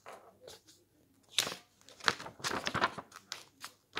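Fingertips and a palm rub, smooth and press across the pages of a large open glossy paper magazine lying flat on a table, with pages turned in between. Quiet, bright papery rustles and crinkles come in short separate bursts, some sharper like a quick tear-like swish, each dying away almost at once.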